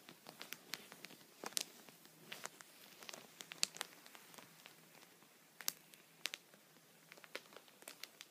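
A thin, clear plastic punched pocket (sheet protector) lying flat on a towel is tapped repeatedly with the tip of a wooden pencil held vertically. About twenty quiet, sharp, bright ticks come at an uneven pace. Each one dies away instantly, with a faint crinkly rustle between them and almost no low end.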